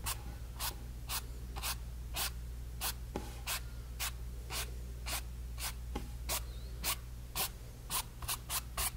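A brush tip is stroked and dabbed over a painted, stretched cotton canvas panel, making about twenty short, dry, bright brushing and rubbing swishes in an uneven rhythm. A steady low hum runs underneath throughout.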